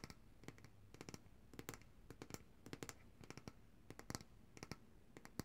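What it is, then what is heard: Glass jar of coconut oil. Long dark-painted nails tap and scratch the glass sides and paper label of a large glass jar of coconut oil, full of white solid oil and held upright in both hands. Quiet, sharp, bright clicks come in quick clusters with almost no ring, over a faint low rumble.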